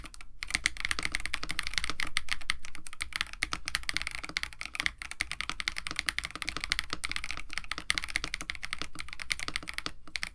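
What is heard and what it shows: Continuous typing with both hands' fingertips on a compact 65% KBD67 Lite mechanical keyboard with a white case, blue and white PBT plastic keycaps, an FR4 plate and lubed Techno Violets switches. A fast, uneven stream of short, bright clacks rides over a soft low thock, with each keystroke dying away almost instantly.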